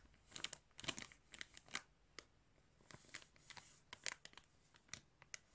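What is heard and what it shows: Fingertips crinkle and rub the top of a clear plastic bag filled with yarn. The result is quiet, bright, irregular bursts of crackling and crinkling with short, dry tails and very little low end.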